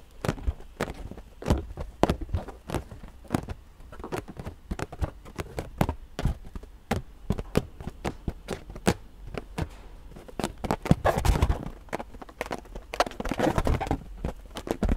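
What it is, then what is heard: Inflated rubber balloon. An inflated purple latex balloon, hollow and about head-sized, is held in both hands and tapped and scratched with long painted nails. Dozens of quick, dry taps land as dull, low thumps with almost no ring. Between them come brighter, rustling scratch passages on the balloon skin, especially in the last few seconds.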